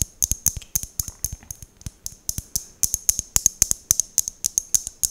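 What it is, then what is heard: Mosaic glass tealight holder. Long nails tap and scratch an empty, fist-sized hollow glass mosaic tealight holder held close to the mic. About thirty sharp, bright clicks land in an uneven rhythm, with faint scratchy rasps between them. Each click dies almost instantly, leaving a thin, high glassy tone and little low end.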